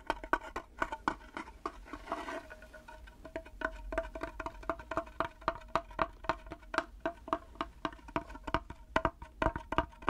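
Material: Wood.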